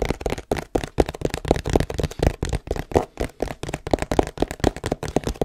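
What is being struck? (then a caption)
Cardboard box. Fingertips and nails tap and scratch the printed face of a long, hollow cardboard tripod box held horizontally. About two dozen quick, dry taps come in an uneven rhythm, each a short, hollow thump with a low-mid body that dies away almost instantly, mixed with faint papery scratching.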